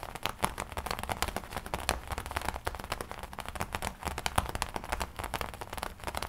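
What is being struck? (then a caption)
Leather jacket. Long nails tap and scratch the lapel and chest panel of a worn black and red studded leather biker jacket. Dense, rapid clicky taps mix with dry crackling scratches and a soft low rumble of the handled leather, keeping a steady busy texture throughout.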